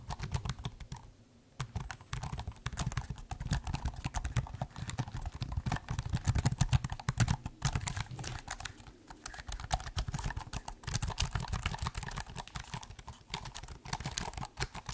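Fingertips type quickly across the plastic chiclet keys of a silver laptop held upright. The result is a dense, steady run of soft, short clicks with a dull low thump and little ring, broken by brief pauses near 1, 8 and 9 seconds.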